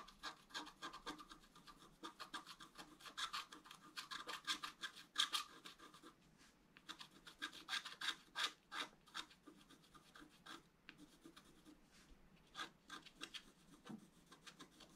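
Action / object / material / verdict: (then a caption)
scrape / black-coated scratch art paper and wooden stylus / coated paper / none. A wooden stylus rubs and scratches the central fountain column into a flat, black-coated scratch art paper sheet. Quick, irregular, dry rasping strokes repeat throughout, bright and airy with almost no low end, each stopping short with no ring. The overall level stays quiet and close.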